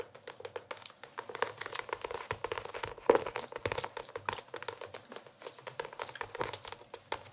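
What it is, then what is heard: Hardcover notebook. A blue hardcover notebook with red-pink edges, held in both hands, is tapped and scratched with fingernails across its cover. Dense, rapid clicking taps and scratchy crinkling continue throughout, with one sharper, louder tap about three seconds in.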